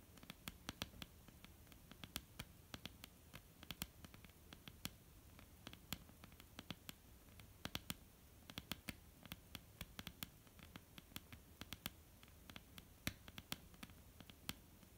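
Long, almond-shaped painted fingernails on both hands tap a flat, solid wooden tabletop in quick, irregular clusters. The sound is a soft, continuous patter of dry, short clicks, each decaying almost instantly, over a faint low hum.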